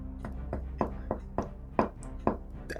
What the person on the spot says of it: You shouldn't be able to knock on a glaze.